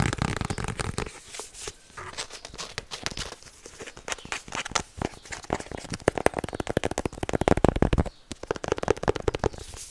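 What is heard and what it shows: A small white polka-dot 2024 paper agenda with a card cover and a label on the back is held closed and turned in the hands while fingertips tap and scratch its cover and edges. Rapid, dry, crackly taps and scratchy rubbing come in dense bursts with almost no ring. The tapping grows louder and busier toward the end, with a brief quiet dip just after 8 seconds.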